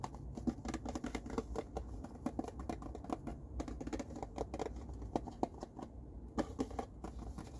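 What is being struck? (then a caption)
Cardboard tissue box. An empty, small, hollow blue printed cardboard tissue box with an oval opening is held in both hands while fingertips and nails tap and scratch its sides. The result is a steady, quiet stream of short, dry, hollow taps with a mid-range knock around 340 Hz, mixed with soft scratching and a low background rumble. The taps die away almost at once.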